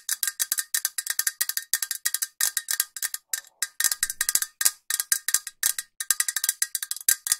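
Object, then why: Metal aerosol spray can. A green metal aerosol spray can with a white cap, held upright, is tapped with long nails in quick, uneven bursts. The taps are short, bright metallic clicks with almost no ring and no low end.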